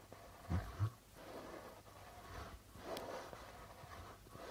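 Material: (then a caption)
Plastic. Fingertips slowly rub and tap the white plastic drumhead of a hollow darbuka with a red body. A couple of soft, deep thumps come early, then quiet, breathy rubbing and scraping swells across the skin, mostly low and muffled with little brightness.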